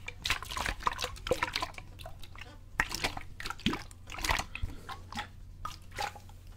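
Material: Plastic.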